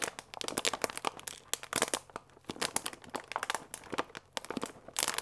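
A paper pasta bag with a clear plastic window, full of dry fusilli and held upright, is squeezed and crinkled with fingertips and nails. Dense, bright crinkling and crunching bursts come with the rustle of the pasta shifting inside. The sounds are short and dry, with quiet gaps between clusters.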